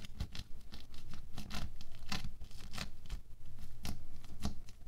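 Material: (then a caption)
Foam beads. A wooden stick repeatedly pokes down into a thin orange sheet of bead foam clay lying on a white table. Each poke makes a short, crisp crackle and scratch with a soft low thump underneath, coming quickly at an uneven pace of roughly two per second. Each poke dies away almost at once.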